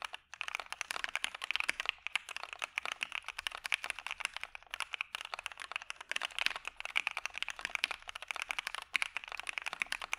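A dark Maja mechanical keyboard with PE foam and white PBT keycaps is typed on with the fingertips of both hands in a steady stream of keypresses. It gives rapid, crisp, bright clacks that stop short with almost no ring, centered around 2.2 kHz with no low-end thump.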